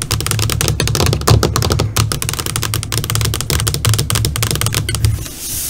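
Long fingernails tap on the flat black screen of an LCD computer monitor, first with one hand and then with both hands. Quick, dry, bright clicks patter in a dense, uneven stream over a steady low hum. Near the end the tapping thins out and fades into a soft hiss.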